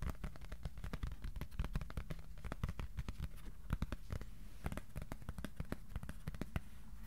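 Fingertips tap rapidly on a flat white cardboard sheet tilted in the hands. The taps are quiet, dull and very short, with most of their weight in the low end, and they run in an uneven, continuous patter over a steady low hum.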